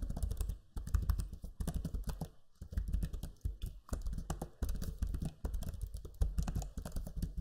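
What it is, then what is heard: Plastic laptop keyboard. Fingertips type on the low-profile plastic keys of a backlit black Lenovo Legion 5 laptop keyboard. Quick bursts of soft, clattering key taps come in short runs separated by brief pauses. The taps are dull and low-heavy, with short bright clicks on top.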